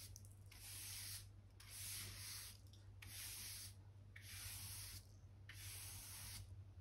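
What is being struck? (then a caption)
Oak wooden floor planks. A soft-bristle hand brush, held in the fingers, sweeps back and forth over a solid oak plank floor near the wall, brushing dirt and dust from between the wooden planks. Each stroke makes a bright, hissy swish, and a steady low hum runs underneath.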